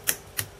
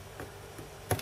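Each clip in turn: First: freely springing desoldered chip pin. Second: chip pin stuck in solder.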